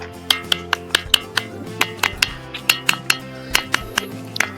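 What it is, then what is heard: Ringing volcanic rock. A stone strikes two volcanic rock boulders on the Ambe Hatvij plateau near Junnar, which ring like a bell, unlike the ordinary stones around them. About 17 sharp, separate strikes each give a bright metallic ping near 3 kHz over steady background music.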